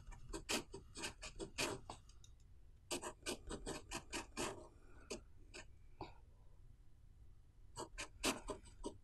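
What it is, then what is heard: Pen writing on a paper notebook page. A blue ballpoint pen writes the Chinese characters for "Snow White" on the right-hand page of an open paper notebook lying flat on a wooden table, while the other hand holds the page. Bursts of short, dry, scratchy strokes with bright edges come in quick clusters, separated by brief quiet gaps between characters.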